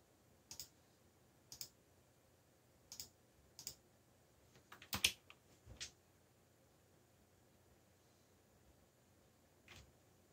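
Fingertips press keys on a backlit mechanical computer keyboard with black plastic keycaps in scattered typing taps. Each press is a short, bright click with almost no low end, and several taps bunch together near the middle. Long quiet gaps follow, ending in one last soft tap.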